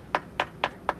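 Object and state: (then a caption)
Delaminated stucco (hollow). Four taps on stucco over a masonry wall give short, hollow knocks centered near 1 kHz with almost no ring. The hollow sound shows the stucco has delaminated from the masonry after water intrusion.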